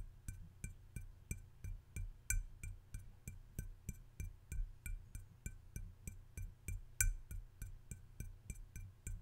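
A hand-sized, hollow red glazed ceramic mushroom-shaped salt shaker with yellow dots and shaker holes in its cap is held in one hand and tapped on the domed cap with the fingertips and nails of the other. The result is a steady run of quick taps, each a dull, low knock topped by a bright click that dies away almost at once.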